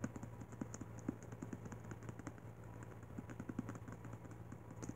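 Fingertips tap and scratch the glossy card front cover of a thick, worn paperback video-game cheat code book held in one hand, and then the book is turned over to its back cover. The result is a quiet, rapid series of soft, dry taps with short scratchy brushes and almost no ring, over a steady low hum.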